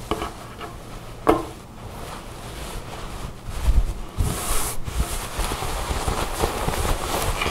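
Fingertips and long nails rub, scratch and bunch a tan cotton garment lying on a table. Soft fabric rustling and scratching carry through, with a sharp tap-like crackle early on. The second half grows denser and brighter with quicker scratching.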